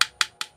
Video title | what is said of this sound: MCB কিভাবে চিনবেন।MCB working principle. | এটা সলিড আছে কারণ এটা ভালো আছে। এই দুই জায়গায় আমরা ঠুকলে দেখতে পাব একটা আওয়াজ পাওয়া যাচ্ছে।